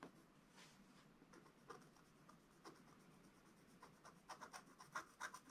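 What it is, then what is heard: Scratch-art paper being scratched. A wooden stylus scratches the dog's body into a flat, black, wax-coated scratch-art paper page. Quiet, dry scratching strokes come in an uneven run, each a short bright rasp around 1.4 kHz. The strokes grow louder and sharper toward the end.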